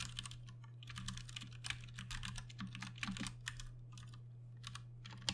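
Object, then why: Mechanical keyboard with plastic keycaps. Fingertips type on a Ducky One 2 Mini 60% mechanical keyboard with Cherry MX Brown switches and plastic keycaps. Quick, bright clacks and taps come in irregular bursts, with a few louder keystrokes standing out. A steady low hum runs beneath the typing throughout.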